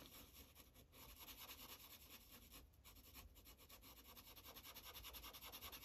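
A light green Sharpie marker tip rubs across a thin paper coloring page on a clipboard in quick, repeated coloring strokes. The strokes make a soft, bright, papery scratching that pulses steadily over a faint low hum, growing slightly stronger toward the end.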